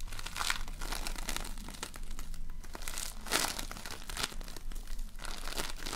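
A large lump of floam, polystyrene foam beads in slime, is squeezed and kneaded with fingers and nails. It makes continuous crinkly, crunchy crackling with bright bursts that flare and fade over a steady low hum.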